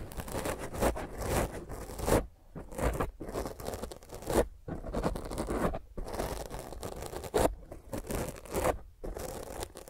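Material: Foam.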